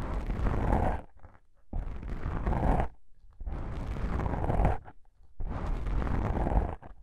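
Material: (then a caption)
Foam. Long pink-painted nails scratch two small black foam windscreen covers on a binaural microphone. Four rough, rumbling bursts of dense crackling scratches, heavy in the low end, are separated by short quieter gaps with faint rustles.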